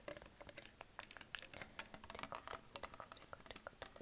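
A hollow green Perrier PET plastic sparkling water bottle is tapped with fingertips and nails on its label and upper body. The result is a quick, irregular patter of light, dry clicks and ticks with almost no ring.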